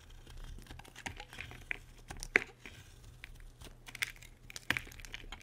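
A solid, dry white bar of soap is held in the hand and carved with a metal utility blade. Short, crisp scraping and cutting strokes crackle and crunch with bright, high detail, and a few sharper snaps stand out over a low steady hum.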